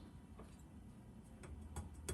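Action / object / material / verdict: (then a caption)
tap / metal table saw throat plate insert / metal / tight. Four light taps on the throat plate insert of a Rigid TS3650 table saw, tapped again after its leveling screw was adjusted with an Allen wrench. Each tap gives a short, dull knock over a low, steady background hum, with no rattle. The plate is seated and sits flat with the table.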